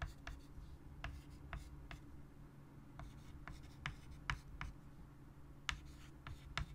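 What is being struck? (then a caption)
Chalk stick on a wood-framed chalkboard. A white chalk stick writes on a large, flat chalkboard set in a wooden frame. There are 13 short, bright, scratchy chalk strokes, each sharp and brief, spread over a steady low hum. The overall level is quiet.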